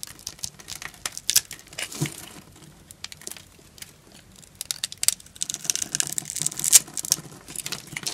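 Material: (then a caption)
Soap. A knife blade cuts and scrapes across an orange solid bar of dry soap, shaving off the scored cubes in crisp crumbles. Quick, dry crackles and crunchy snaps come in uneven bursts, bright and high with almost no low end. They are quieter around the middle and grow busier and louder toward the end.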